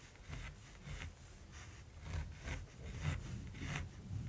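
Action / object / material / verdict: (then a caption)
scrape / graphite pencil on gesso-primed linen canvas / linen canvas / none. A hand-held mechanical pencil makes short strokes on a flat, gesso-primed linen canvas, scratching graphite onto the woven surface while shading a raven's head. Soft, dry scratches come in loose, irregular bursts with a bright, airy texture over a steady low rumble.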